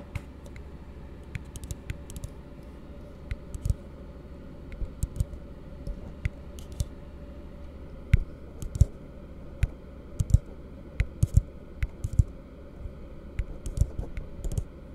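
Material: Plastic.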